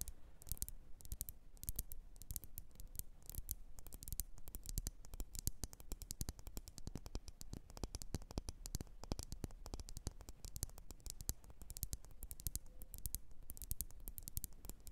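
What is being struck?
Wax-filled glass candle jar.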